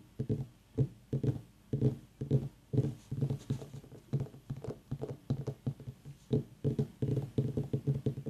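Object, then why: Small whole white mini pumpkin. Fingertips and long nails tap on top of the rind of a small, whole, white, ribbed mini pumpkin with a long dry stem, a hollow gourd, while an aroma diffuser mists nearby. The taps come in quick, uneven bursts of dull, hollow, low thuds centered around 145 Hz. Each tap dies away almost at once, with no bright ring.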